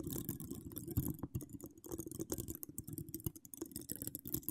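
Long acrylic nails decorated with charms scratch and tap a hollow woven metal mesh microphone head. The result is a dense run of quick scratches and clicks with a heavy, boomy low end and bright crackling on top, with short taps standing out now and then.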